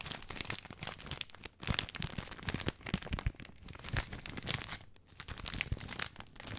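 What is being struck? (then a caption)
Plastic film package of dry spaghetti. Fingertips and nails crinkle and scratch the long plastic film of a full package of dry spaghetti. A dense stream of sharp, bright crackles and rustles runs throughout, with brief quieter gaps near 1.6 and 5 seconds. The crinkling is dry and close, with no ringing after each snap.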